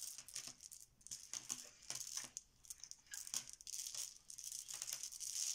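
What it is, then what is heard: Plastic letter tiles shuffled. A pile of many small, solid, cream plastic Bananagrams letter tiles on a marble countertop is shuffled and swirled with the fingertips and palms of both hands. The tiles clack together and slide on the stone, making a continuous, dense, bright rattling clatter with no low end, swelling and easing in quick bursts.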